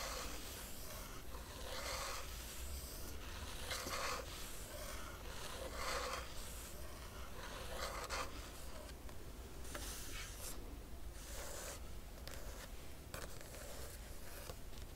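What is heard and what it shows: Long nails trace and scratch across the matte printed paper pages of an open hardcover crochet book. Soft, papery rubbing and rasping strokes come in loose, repeated passes, with bright scratchy edges over a steady low hum. The sound stays quiet and even throughout.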